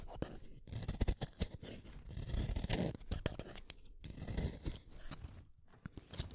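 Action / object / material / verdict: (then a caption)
scrape / wooden colored pencil / wood / none. A yellow utility knife blade shaves a small, solid blue wooden colored pencil over a pile of shavings. Quick, repeated scraping strokes come in uneven bursts, each a short, dry, crunchy shave with little ring and mostly low-end weight.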